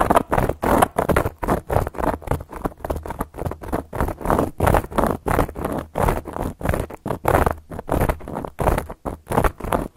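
Long gold metal claw nails scratch and trace across a round, flat, solid cork coaster. The result is a dense run of short, dry, scratchy rustling strokes in an uneven rhythm, with brief quiet gaps between bursts and almost no ring.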